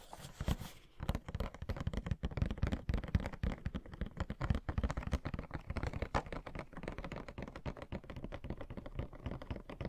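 Long nails rapidly tap and scratch a hollow Pennywise Funko Pop box made of cardboard with a clear plastic window and the figure inside. The result is a dense stream of short, dull, low-heavy clicks and scrapes that stop almost instantly.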